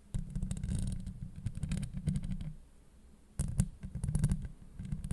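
Long acrylic nails scratch across a hollow steel mesh microphone grille, making dense, close, low scraping and rumbling bursts with scattered bright crackles. The scratching runs steadily, drops to near silence for a moment, then resumes just as strongly.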